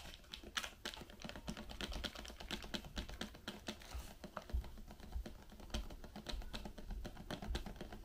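Long pink nails tap quickly and steadily on the sides and rim of a small, open white Raffaello cardboard box partly filled with wrapped candies. The result is a dense run of crisp, bright clicks over soft, low, hollow thumps, with each tap dying away almost at once.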